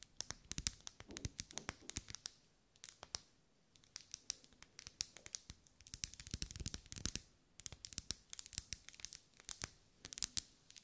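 A lit pink pillar candle of solid wax with vertical ribs is held in the hand while long nails scratch and tap along its ribs. Quick bursts of crisp, bright clicks and dry scratching come in uneven clusters with brief pauses between them. The sound is quiet and close, and each tap cuts off sharply with no ring.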